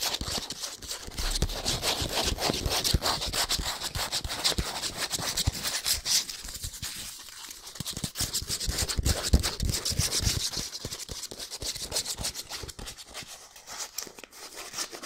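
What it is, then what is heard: Cardboard soap box. A small printed cardboard soap box is held in both hands and scratched and tapped with fingernails. Fast, irregular, dry scratching and crisp tapping go on throughout, with a bright papery hiss above the short low knocks. The texture thins a little around the middle before building again.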